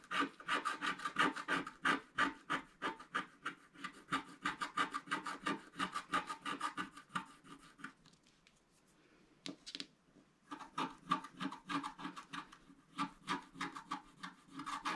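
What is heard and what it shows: A wooden stylus scratches along the bottom clouds of a flat black coated scratch-art paper sheet, producing rapid, fairly regular rasping strokes with a bright, papery texture. The strokes pause for about two seconds in the middle before resuming.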